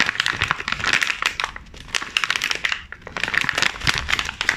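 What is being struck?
Plastic film cookie package.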